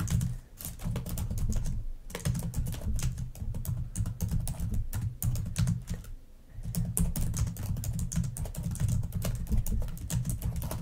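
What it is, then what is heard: Plastic laptop keyboard. Rapid typing with long nails on a black plastic laptop keyboard makes a dense stream of sharp, bright clicks over a steady low rumble. Brief pauses near 2 seconds and between about 6 and 6.7 seconds interrupt the clicking before it picks up again.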